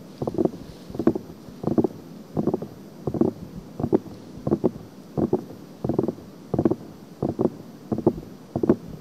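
Long painted nails and fingertips of both hands scratch and rub the two pink-white silicone ears of a 3Dio-style binaural microphone on a stand, each a solid, soft rubbery ear set in a plastic ring. The result is a steady rhythm of short, muffled, scratchy bursts, about one every 0.7 seconds, each with a double stroke and a dull low-mid thud, separated by a faint constant hiss.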